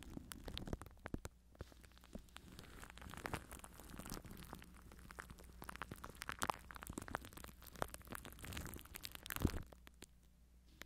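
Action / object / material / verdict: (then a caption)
scrape / plastic cling film stretched over a microphone / plastic film / none. Fingertips scratch and rub the side of clear plastic cling film wrapped and stretched over a microphone mesh. Dense crinkling crackles and sharp clicks rise and fall over a steady low hum, with a louder crackling burst near the end. The close, quiet rustling fades back to the low hum.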